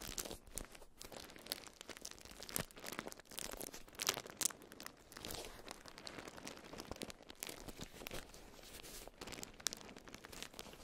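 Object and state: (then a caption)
Beeswax-coated cotton food wrap. A watermelon-print beeswax-coated cotton food wrap around a round item is squeezed and crinkled in both hands. It makes a dense, continuous, bright crinkling and crackling with sticky tearing-like textures, and sharper bursts stand out around the 4-second mark and near the end.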